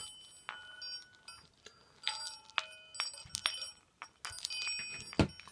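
A pair of palm-sized, hollow, blue enamelled metal Chinese health balls (Baoding balls) of the chiming type, with yin-yang designs, are rotated in one hand by the fingers, with their open box labelled Chinese Health Balls behind them. As they roll, they clink against each other in irregular, bright metallic taps. Steady, high chime tones hum and linger between the clinks.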